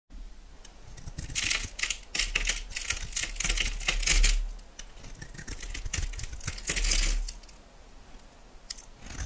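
A solid cream-coloured bar of soap is held in the hand and shaved and carved into flakes with a metal knife blade. Bursts of bright, crisp scraping and cutting come in uneven strokes, with louder passes around the middle and near the end over a low background rumble.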